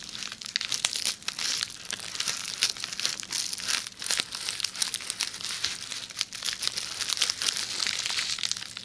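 Long nails scratch along a rolled tube of red plastic bubble wrap held beside the microphone. The result is a dense, bright, continuous crinkling with rapid, sharp scratchy clicks and almost no low end.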